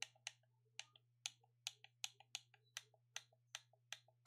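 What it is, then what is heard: Plastic game controller. Thumbs repeatedly press the buttons on a black plastic gamepad held in both hands. About a dozen sharp, bright plastic clicks come in an uneven rhythm, each often followed by a softer click, with a faint steady low hum underneath.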